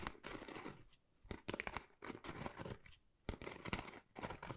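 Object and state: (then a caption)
Textured cardboard folder being scratched. A flat, pale pink, pebble-textured Dior cardboard folder, thin and hollow, is scratched with long nails. Bursts of dry, crunchy scratching come in uneven bouts, separated by brief near-silent pauses, with sharp, bright crackling edges over a soft, low rustle.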